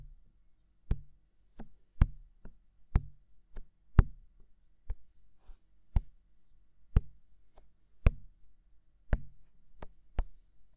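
Fingertips tap and knock steadily on the white, hollow, mounted silicone ear of a binaural microphone. Each tap is a short, dull, low thump with a brief bright click at the start and almost no ring. The taps are spaced unevenly and come roughly every second or two against near silence.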